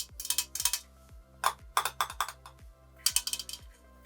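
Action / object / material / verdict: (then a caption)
tap / small aluminium storage tin / aluminium / none. Fingers tap on a small decorative metal (aluminum) pen storage tin, about 15 quick, bright metallic clicks in three clusters. Each tap is short and dry with almost no ring, over a faint steady low hum.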